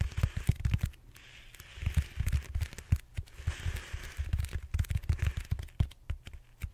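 Fingertips tap and scratch the surface of a large, purple, solid styrofoam foam roller held horizontally. Rapid, short, deep thuds come in quick clusters, with stretches of dry, brighter scratching hiss between them.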